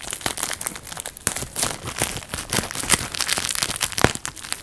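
A clear plastic bubble wrap sheet with air-filled bubbles is held in both hands while fingertips and thumbs squeeze and pop individual bubbles. Sharp, bright pops and snaps come in quick succession over a steady crinkling rustle of the plastic. Each pop is brief with almost no ring.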